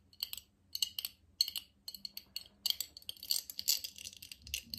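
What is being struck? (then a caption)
Glass jar. A medium, clear, nearly empty hollow glass jar is held in both hands and tapped and scratched with fingertips, short nails and metal rings. Bright, sharp clicks and clinks sit high, spaced in small clusters at first and then thickening into a denser patter with scratchy bursts. Each tap dies away almost instantly with no ringing.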